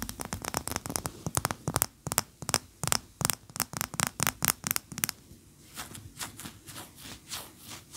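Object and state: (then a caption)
Wax pillar candle. Long fingernails tap and scratch a large, cream, solid wax pillar candle standing upright. For the first five seconds a rapid run of sharp, bright, dry clicks is heard, then it changes to softer, rhythmic scratching strokes. Each tap is crisp and dies away almost instantly.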